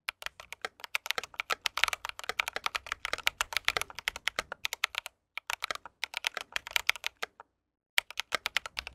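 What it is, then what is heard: Mechanical keyboard being typed on. Fingertips of both hands type steadily on an RGB mechanical keyboard with white plastic keycaps and a metal case. The result is a dense stream of short, bright, clicky keystrokes with no lingering ring, broken by brief pauses near the five- and seven-second marks before the typing resumes.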